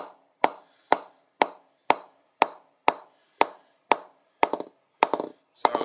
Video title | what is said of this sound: GM Diamond 808 Cricket Bat Review | it's starting to go just under the stickers. Needs a play in.